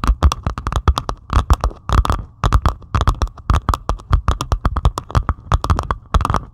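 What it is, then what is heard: Diamond painting of resin drills on canvas. Long pointed acrylic nails scratch rapidly across a flat diamond painting of plastic resin drills on canvas. The result is a quick, uneven run of short, dry, clicky scrapes with soft low thumps and a faint steady mid tone under them. Each stroke dies away almost at once.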